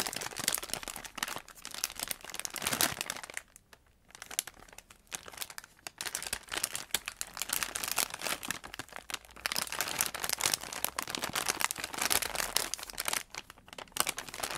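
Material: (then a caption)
Plastic. A filled, soft pink polyethylene postal mailer bag with a green customs label is rubbed and crumpled with fingertips and palms, producing a dense, bright crinkling and crackling of plastic. The handling comes in steady bursts with a brief quieter lull early on before the crinkling resumes at full intensity.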